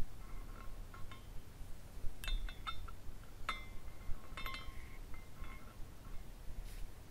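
A small glass carousel figurine spins while its glass horses swing and knock together, giving scattered bright clinks and short chime-like tinkles. The tinkles come at an uneven pace over a steady low rumble.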